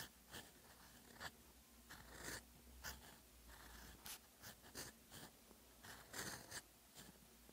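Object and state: Pen nib writing on paper.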